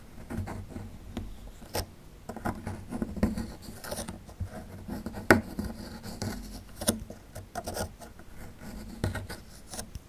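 A small metal chisel tool scrapes near the tail of a dinosaur relief on a small, solid plaster fossil excavation block. The result is a quiet, dry, gritty scratching broken by short, sharp ticks and scrapes that fade almost instantly.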